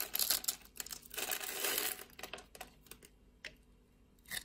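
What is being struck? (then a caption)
Bar of soap cut with a blade. A utility blade scores a solid pink bar of soap held in the palm and scrapes off cubes. The result is a run of dry, bright, crisp scraping and crackling, loudest and densest at the start, then thinning into sparse short scratches with quiet gaps.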